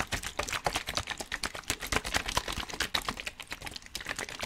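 A clear, hollow plastic water bottle, partly filled with water, is held in both hands in front of the mic and squeezed and crinkled with the fingers, and the water inside may slosh. It makes a quick, steady run of sharp, bright crackles and clicks, each dying away almost at once, with little low end.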